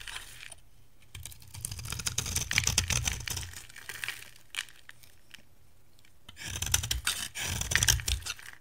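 A metal cutter blade shaves curls off a dry, solid oval bar of soap, white inside with a green rim, held in the hand. Two bursts of bright, crackly scraping run for a few seconds each, with a few short dry clicks in the quiet gap between them.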